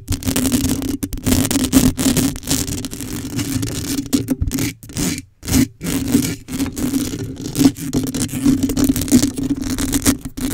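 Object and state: Metal mesh microphone grille being scratched.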